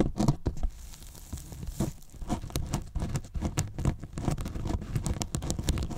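Fingertips and short nails pinch and scratch the top edge of a large, hollow white polyethylene foam box. The result is a steady, dense patter of crinkly, tearing-like scratches with a low, hollow body and quick, bright clicks that stop almost instantly.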